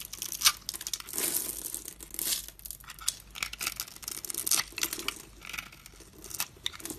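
A solid purple soap bar held in the hand is scraped and cut into small cubes with a metal box-cutter blade, piling up soap crumbs. Dry, crisp scraping and crumbly crackles come in quick bursts, bright and hissy with almost no low end.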